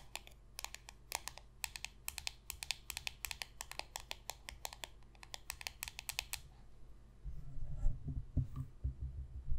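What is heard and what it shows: A single small, thin, glossy holographic cardboard football card is held in the hand and rapidly tapped and scratched on its surface with long pointed red nails. For about six and a half seconds, quick, irregular, bright, dry clicks sound over a low background hum. A louder, low, rumbling scratch then takes over until the end.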